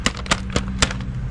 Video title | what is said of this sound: 09 Ford Focus coolant pipe replacement | they are making them out of metal now. Yep, that sounds like metal.